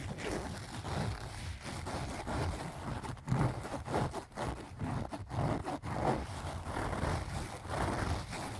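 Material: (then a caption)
Fabric. Fingers and nails scratch and rub across the fabric front of a closed, filled, pink leaf-print cloth zipper pouch. The result is a steady, dull rustling scratch with a heavy low-end rumble and little brightness, rising and falling in short strokes without pause.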